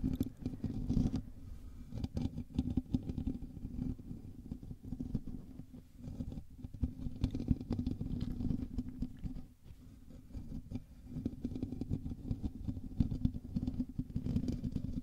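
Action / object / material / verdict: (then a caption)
scrape / metal mesh microphone grille / metal mesh / none. Fingertips and nails of both hands scratch the top and sides of a black USB microphone's hollow metal mesh grille. The result is a dense, continuous scratchy patter with a heavy low rumble, concentrated mostly below 300 Hz. It runs for about fifteen seconds, with a brief quieter dip around the ten-second mark.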